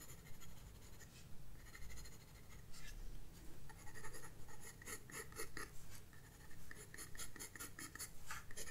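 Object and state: Pencil on paper.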